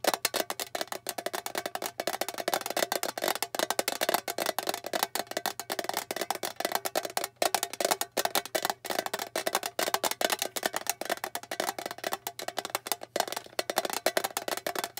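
A small, flat, rectangular blue metal tin, hollow, is tapped rapidly with long fingernails on its lid and rim. The result is a dense, continuous stream of sharp, bright clicks with a light metallic tone around 790 Hz. Each tap dies away almost instantly and there is no low rumble.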